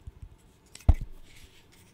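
A small, solid, light-wood interlocking stick burr puzzle, held in both hands, is scratched and tapped with a fingernail. Faint soft ticks lead into one louder, dull, low knock at about 0.9 s, with a brief bright scratch just before it. Each hit dies away almost at once with no ringing.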